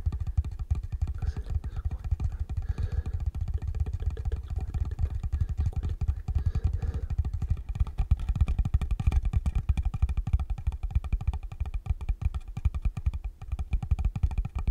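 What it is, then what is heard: Wooden block or box tapped. Fingertips and nails rapidly tap and scratch the top of a small rectangular wooden block or box held close to the microphone. A dense, steady stream of short, deep, bass-heavy thumps with dry scratching runs throughout, each tap dying away almost instantly.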